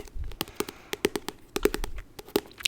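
The graphic novel "March, Book 3" is tapped on in a quick, uneven series of light, dry taps. Each tap has a short hollow knock around 400 Hz and dies away almost instantly.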